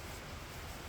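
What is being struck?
Nothing is struck.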